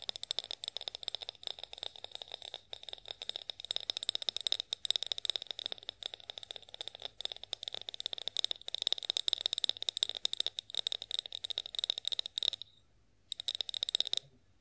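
A partly filled clear glass olive oil bottle with a spout, held in hands, is tapped rapidly with long acrylic nails. The result is a dense run of quick, bright clicks with a high glassy ping and almost no ring, broken by a short pause near the end before a final burst of taps.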